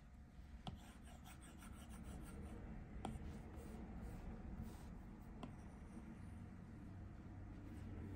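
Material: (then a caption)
Glass. A plastic Apple Pencil tip scratches and rubs in short repeated strokes across the flat glass touchscreen of an iPad Pro tablet, a solid device lying on a table. The result is a quiet, low, muffled rubbing and scratching with a few brief, sharper clicks standing out from the steady strokes.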